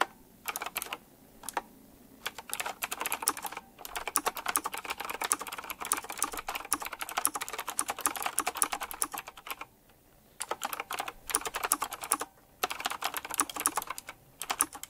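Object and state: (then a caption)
Mechanical keyboard with round plastic keycaps. Fingertips type quickly on a retro typewriter-style mechanical keyboard with round plastic keycaps set in chrome rings. Dense, bright, crisp clacks come in rapid bursts with a few short pauses between them. Each keystroke stops almost at once, leaving very little low end.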